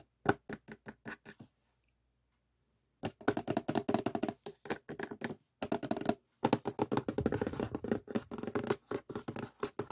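Fingernails scratch and fingertips tap on the glossy printed lid of a closed cardboard jigsaw puzzle box. A quick run of dry, short taps gives way to a pause, then dense bursts of scratchy tapping with brief breaks. The sound stays mid-toned and soft, with almost no ring after each hit.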